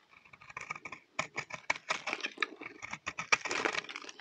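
A solid, round, dry lavender soap bar held in the hand is scraped and shaved with a utility knife blade, producing crunchy, powdery flakes. Quick, dry, bright scratching strokes come in uneven bursts with almost no low end, and a brief pause follows the first second.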